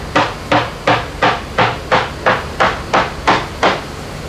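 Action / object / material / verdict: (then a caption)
tap / fiberglass boat hull with gel coat / fiberglass / solid. A tape-wrapped hammer lightly taps 11 times at a steady pace on the gel-coated fiberglass hull of a Leopard catamaran, over an area where dry glass has been repaired. Each tap is a short, uniform, solid knock with a brief ring. The result is consistent throughout, indicating the completed repair is properly done and solid.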